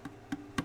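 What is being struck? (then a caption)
Mahogany ukulele body. Three quick knocks on the body of a 1950s Harmony baritone ukulele made of all genuine mahogany with a rosewood fretboard. Each produces a short, woody tap with a hollow resonance around 270 Hz that dies away almost at once.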